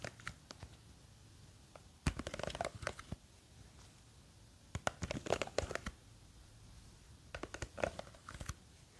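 Long green fake nails scratch and tap the sides of a small clear plastic jar with a white lid, full of blue gel beads. Quick, crisp clicks and scratchy rustles come in short clusters, separated by quiet pauses.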